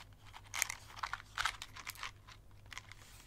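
A small, hollow cardboard safety-match box with a red and white label is held in the hands and rubbed and scratched with long nails and fingertips. It makes a quiet series of dry, crisp, bright scratching and crinkling bursts that stop short with no ring. A faint low hum runs underneath.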